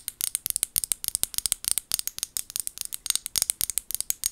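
Long gold nails tap and scratch the sides of a small amber glass bottle with a white plastic lid, held in both hands. About 30 rapid, crisp clicks come in quick clusters, bright and high with almost no low end and no ring. Between the taps there are light scratchy rasps.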